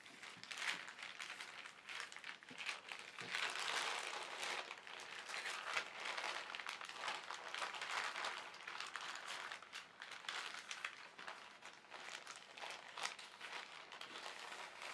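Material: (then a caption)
Polyethylene. An empty white printed polyethylene shopping bag lies on a fabric surface while fingertips rub it flat, then fold and crinkle it by hand. The result is a steady, dense stream of soft, bright plastic crinkling and rustling with no low end, swelling and easing gently throughout.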